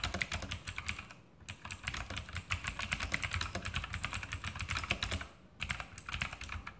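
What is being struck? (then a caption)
Plastic mechanical keyboard. Fingertips of both hands type steadily on a backlit E-Element Sharpshooter X2000 mechanical keyboard with plastic keycaps and Outemu blue clicky switches. The sharp, bright clicks come in a dense stream, each dying away almost instantly over a low clack. The typing breaks briefly twice before resuming.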